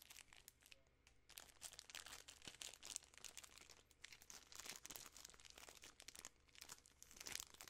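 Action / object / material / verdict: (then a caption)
scrape / plastic film candy wrapper / plastic film / none. A full, large Butterfinger bar in its sealed yellow plastic film wrapper is crinkled and squeezed by fingertips and long nails. Dense, bright, crackling crinkles come in rapid clustered bursts with very little low end. The sound is quiet and close.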